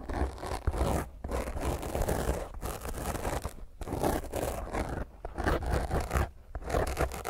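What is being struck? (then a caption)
Foam microphone windscreen. Long painted fingernails of one hand scratch roughly over a small, rounded black foam windscreen covering a microphone head. The result is a dense, close, crackling scrape with heavy low-end rumble and thumps, coming in rough bursts separated by brief near-silent pauses.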